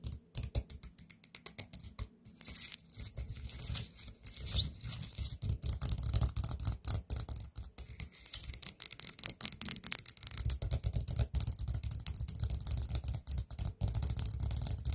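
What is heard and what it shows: A small, open, orange ceramic pumpkin-shaped candle holder filled with wax is tapped with long nails. The result is a rapid, dense run of short, dry clicks and taps with a scratchy, bright edge and a low thump underneath. The hits come in fast bursts and do not ring on.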